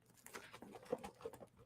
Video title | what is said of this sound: eBay Talk - The One Topic Not Discussed On Youtube - Your Reselling Q&A | it sounds like something's rolling in there